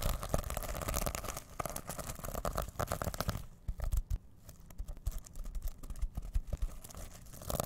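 Fingertips rapidly rub and scratch the rainbow plastic sequins of a reversible sequin-covered fabric pouch held in both hands. The result is a dense, crinkly scratching with quick ticking clicks over a dull low rumble. It quietens briefly midway before picking back up.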